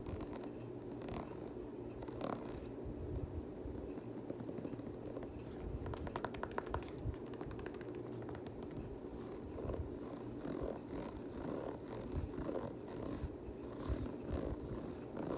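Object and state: Knit sneaker with rubber sole, scratched.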